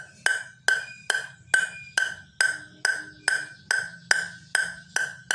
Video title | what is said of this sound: review yinhe M101 (mars 101) | suaranya kelihatan banget ya. Kalau ini kayunya keras, nyaring